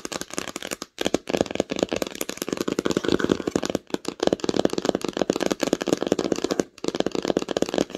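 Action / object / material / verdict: tap / cloth-covered hardcover book / cloth, board / none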